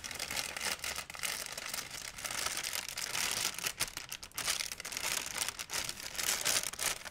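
A large, empty white plastic shopping bag is crinkled and rubbed with fingers and nails. It makes a continuous, dense, bright crackling and rustling with almost no low end, swelling and dipping in loudness as the plastic is worked.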